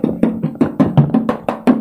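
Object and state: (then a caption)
Car body panel free of body filler. Ten quick knuckle-like knocks on the sheet-metal front body panel of a 2004 used car during an inspection, each a sharp tap with a brief, clear metallic ring. The panel rings loud and clear like bare sheet metal, showing it is intact with no body filler from a previous repair.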